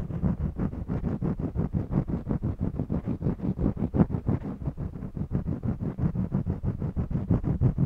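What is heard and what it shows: A purple jumbo wax crayon scratches across the weave of a small stretched cotton canvas on a mini easel. It makes a rapid, fairly steady run of short, dry, low rasping strokes, about three per second, with almost no bright content. Each stroke dies away instantly.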